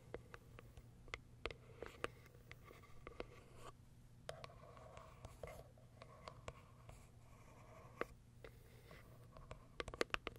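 Long acrylic nails scratch and tap the top of a small white Kiara Sky cardboard box with a plastic window. Soft, dry scratching runs under a scattered series of short, sharp clicks that stop almost instantly, with a cluster of brighter taps near the end. A faint steady low hum sits beneath the quiet scene.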